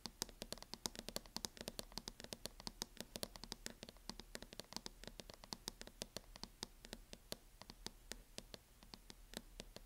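Long nails tap rapidly along the front edge of a mint matte plastic hard-shell case on a closed MacBook. The sound is a quiet, steady stream of short, dry, bright clicks that stop instantly, over a faint low hum.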